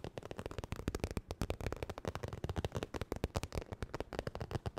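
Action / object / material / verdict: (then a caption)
tap / textured vinyl makeup bag / vinyl / none. Fast nail tapping and scratching on a holographic crocodile-textured vinyl makeup bag. Rapid, dense clicks and taps with a scratchy texture run continuously, each short and dry with weight mostly in the low end.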